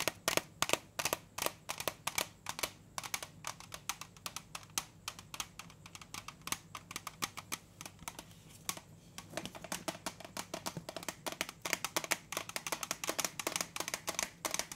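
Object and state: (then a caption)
Metal cookie tin. A large, round, printed metal butter cookie tin is held closed and tilted while fingertips and nails tap rapidly on its lid and side wall. The result is a steady stream of short, sharp, bright clicking taps that die away almost instantly over a faint low hum, with a brief lull just before nine seconds before the tapping picks up again.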